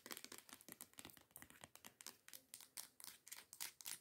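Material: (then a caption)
Plastic. Long nails tap and scratch quickly near the cap of a teal plastic body scrub bottle lying on its side. The result is a rapid, uneven run of short, bright clicks and scrapes that die away almost instantly, with almost no low end.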